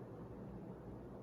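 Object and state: Nothing is struck.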